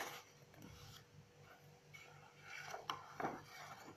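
Long acrylic nails and fingertips flip and brush the white pages of an open, medium-sized paper notebook. Quiet, soft papery rubbing and rustling is heard throughout, with sharper, bright page-flick sounds near the end.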